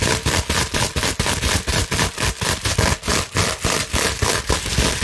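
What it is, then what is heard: Plastic bubble wrap scratched. Long nails scratch quickly across the small air bubbles of a clear plastic bubble wrap sheet held in both hands. The result is a dense, bright, crackling scratch that comes in rapid, uneven bursts with brief dips between strokes.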